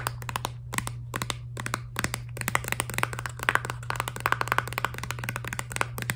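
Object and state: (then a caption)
Filled plastic toothpaste tube. Long nails tap fast and irregularly on the back of a filled, laminated plastic toothpaste tube. The result is a dense run of short, dry clicks with a bright, hollow plastic tone over a steady low hum.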